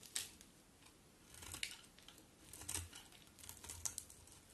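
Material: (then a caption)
Soap. A utility knife blade scrapes and carves flakes off a solid cream-white bar of soap held in the hand. Quiet, bright, crisp scraping strokes come in short bursts, with a faint low rumble in between.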